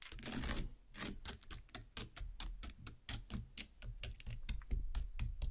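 Long black nails tap and pierce the red flesh of a large cut watermelon half. A quick, uneven series of short, dry clicks and soft thuds follows, each with a crisp bright edge over a low, dull body, with a longer wet crunch near the start.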